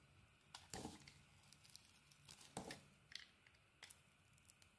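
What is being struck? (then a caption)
Solid bar of soap shaved with a blade. An oval, palm-sized solid white Balea soap bar with a purple polka-dot coating is held in the hand and shaved with a utility knife blade. Short, crisp scraping and crackling cuts come at irregular intervals, each a bright, dry shave that stops quickly over a quiet background.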